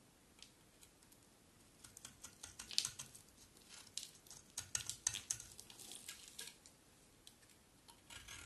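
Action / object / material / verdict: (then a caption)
scrape / bar of soap cut with a knife blade / soap / none. A utility knife blade scrapes and cuts shavings from the edges of a solid green dry soap bar held in the hand. Quiet, crisp, bright scraping strokes and short clicky cuts come in irregular bursts, louder through the middle, with almost no low-end body and no ring after each stroke.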